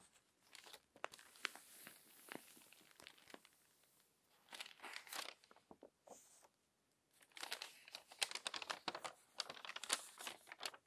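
Fingers smooth the pages of a crumpled paper magazine, then lift and turn them. Bursts of bright crinkling and rustling come and go with quiet gaps between them. The sound is dry, with no low end and no ring after each crackle.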